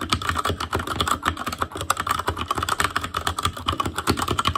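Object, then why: Mechanical keyboard with plastic keycaps on a metal frame. Fingertips of both hands type continuously on an ASUS ROG Claymore Core mechanical keyboard with Cherry MX Red switches, black plastic keycaps on a metal frame, and a hollow RGB-backlit housing. About 30 quick, dry clacks land in a steady stream over under five seconds, each with a midrange click near 1.2 kHz, a soft low thump and almost no ring.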